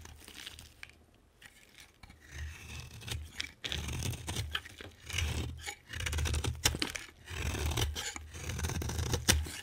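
A utility knife blade scrapes and cuts into a solid, hand-sized green bar of soap. Dry, crunchy scraping and tearing strokes come in irregular bursts over a low rumble, with short gaps between passes.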